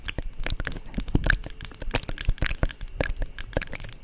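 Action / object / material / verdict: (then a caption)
tap / plastic cosmetic jar with screw lid / plastic / none. Long nails tap and scratch the screw lid and body of a small, hollow, white plastic cosmetic jar held in both hands. A rapid, uneven stream of short, dry clicks and taps mixes with scratchy, crinkling scrapes. The hits carry bright high ticks over soft, hollow low thumps, and each dies away almost at once.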